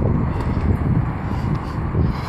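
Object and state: Nothing is struck.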